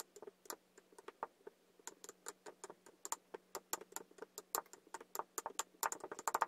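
A wooden muddler tamps down the blue and green layers of kinetic sand in a tall clear glass. It makes about 29 short, dry, crisp taps with bright clicky tops, quickening and growing louder toward the end. A faint steady low hum runs underneath for most of the clip.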